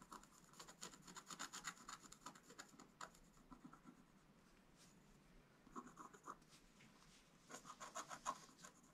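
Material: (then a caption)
Coated card. A wooden stylus scratches the coating of a flat, black-coated scratch-art page in quick, dry, rasping strokes with a bright, high edge. The scratching comes in three clustered bursts: a long run at the start, a short one in the middle and another near the end. Quieter pauses separate them.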